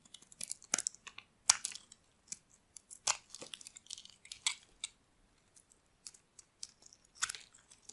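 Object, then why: Bar of soap scraped with a metal blade. A metal blade carves and scrapes shavings off a solid rectangular bar of dry white soap. The result is a quiet series of short, crisp, dry scraping and crunching bursts, bright and high-pitched with almost no low end, separated by brief silences.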